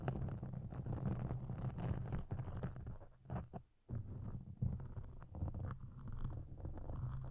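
Long pink acrylic nail tips scratch a large, soft, porous black foam windscreen over a microphone, producing a dense, muffled scratching and rustling concentrated in the low range. The scratching runs steadily with brief pauses around the middle.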